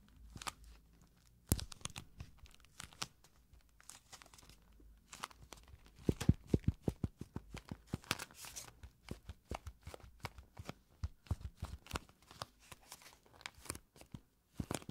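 Long nails scratch across the face and edges of a small pink cardboard blotting paper box and tap on it. The result is a quiet, dry run of scratchy, crinkly strokes broken by many sharp, short clicks and soft low thuds that stop almost instantly.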